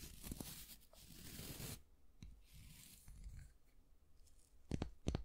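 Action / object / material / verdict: scrape / wooden long-handled brush / wood / none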